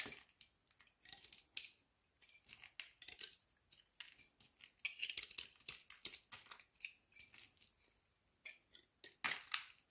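A solid olive soap cube held in the palm has its face scraped and shaved with a utility knife blade. The result is a quick run of dry, bright scraping and crackling strokes, with gaps of silence in between.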